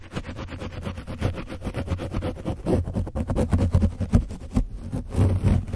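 A foam brush is rubbed over the back and top of an orange foam microphone windscreen coated with dried paint. It makes a dense, rumbling scratch of rapid strokes, heavy in the low end with a steady throb near 94 Hz and faint high hiss.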